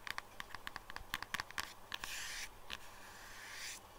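Long nails tap and scratch the back and edge of a pale pink silicone phone case on a phone lying flat on a desk. A run of quick, dry, clicky taps comes first. Two longer, bright, hissing scratch strokes follow across the case.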